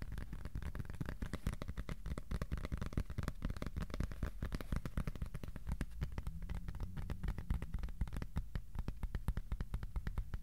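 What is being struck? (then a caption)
Piece of cardboard. Fingertips tap on a piece of cardboard, sometimes slowly and sometimes fast. The result is a steady stream of soft, dull, low thuds that stop dead with almost no ring.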